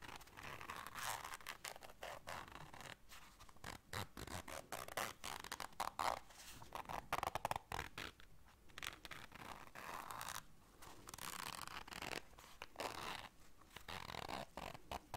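A small, round, semi-rigid black fabric zipper case that looks empty is held in the hands while long dark nails work the zipper and scratch the fabric. The result is a steady run of quick, dry zipping and scratching rasps with brief pauses between bursts, brightest through the mids and high range.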